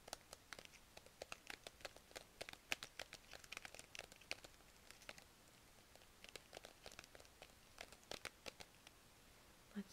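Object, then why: Plastic zip-lock pouch of plastic markers. A small clear plastic zip-lock pouch full of pastel plastic markers is held in both hands, crinkled and scratched with long nails. The result is quiet, dense, bright crinkling, with dozens of sharp, brief clicks and scratches that stop almost instantly. There is a short, calmer stretch in the middle.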